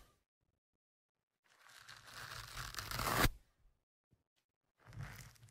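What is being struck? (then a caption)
Foam microphone windscreen. A thin metal pick and fingertips scratch and rub the surface of a black foam windscreen on the left microphone. After a quiet start, a close, scratchy rasp with a low rumble builds steadily to a loud peak and cuts off abruptly. A few faint ticks follow, then a shorter burst of rubbing.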